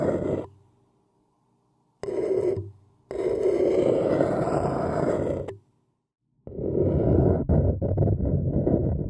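A thin wooden stick scratches and taps around the sides of an empty white paper cup standing upside down, its hollow, thin-walled body giving a low, raspy scrape. The sound comes in separate bursts with silent gaps, and the last stretch has quick taps mixed into the scratching.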